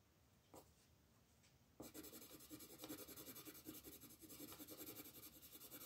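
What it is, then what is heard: Colored pencil scratching on a paper page. A wooden colored pencil rubs and scratches across a flat printed paper page of a coloring book lying on a wooden table, while the other hand, with long red nails, holds the page. After a quiet start with one brief scratch, steady back-and-forth coloring strokes begin and continue as a bright, dense, rhythmic scratching to the end.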